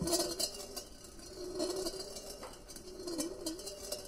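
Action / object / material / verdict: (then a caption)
shake / steel ball rolling in a stainless steel colander / stainless steel / none. A solid steel ball rolls around inside a large, empty, perforated stainless steel colander with side handles, which rests on a white table and is being swirled. The ball makes a continuous rolling rumble and repeatedly clinks against the thin hollow metal bowl, producing bright, short-ringing metallic tones and a steady mid-pitched hum.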